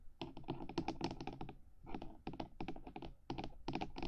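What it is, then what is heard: Fingernail taps on a hard plastic microphone housing. Long nails on both hands rapidly tap the top edge of the black hard housing of a 3Dio binaural microphone, near its silicone ears. The crisp, clicky taps come in quick dense bursts with short pauses between them. Each tap is dry and dies away almost at once.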